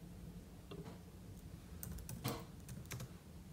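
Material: Plastic.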